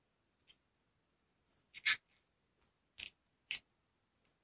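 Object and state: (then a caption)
Cardboard palette case tapped with nails. Fingertips and nails tap a closed, flat rectangular black textured cardboard makeup palette case held up close. Short, dry, bright clicks come in an irregular scatter, a few louder than the rest, each dying away almost at once with little low end.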